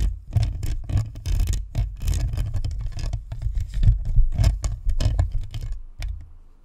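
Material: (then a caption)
Plastic, metal. Long nails scratch and tap the hollow plastic shell and perforated metal grille edges of a white spherical Blue Snowball USB microphone. The result is a rapid, irregular patter of scrapes and taps that cut off quickly, dominated by deep, boomy low-end thumps with crackly, bright scratching on top.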